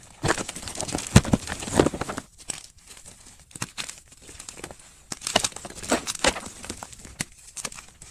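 Bare fingers crush a hand-sized, segment-scored block of white solid gym chalk (magnesium carbonate) resting on a dark surface, crumbling the broken pieces into powder. Dense, dry crunching and crackling comes in bursts, loudest in the first two seconds and again around the middle, with quieter gritty crumbling in between.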